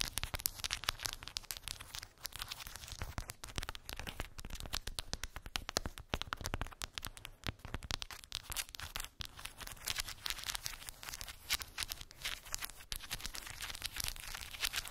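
Long pink acrylic nails tap and scratch across a small square cork board covered in glued round wooden beads. A dense, steady stream of quick, dry clicks and crackly scraping runs throughout, bright and sharp with almost no ring.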